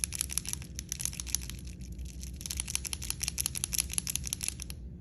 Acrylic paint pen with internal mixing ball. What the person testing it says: shake it up till you hear that ball moving around really well